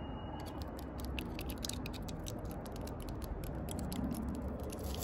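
Long purple nails and fingertips tap and scratch the rough, furrowed bark of a large, solid, living tree trunk outdoors. Quick, bright clicks and scratchy ticks patter unevenly over a steady low, rumbling background that lasts throughout.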